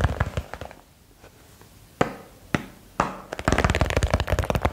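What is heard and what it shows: A small box is tapped quickly for ASMR. A few soft, dry taps at the start give way to a quiet stretch, then three sharper isolated taps, and finally a dense, rapid flurry of short, low-heavy taps with no ring.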